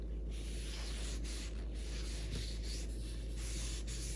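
A paper towel held in the fingertips rubs in circles over the wet, oiled surface of a large, solid, rectangular end-grain wooden cutting board with a mixed-wood 3D weave pattern, resting on a granite counter. A steady, soft swishing rub plays throughout at an even level, with a low, dull rumble underneath and faint bright hiss that rises and fades with each pass.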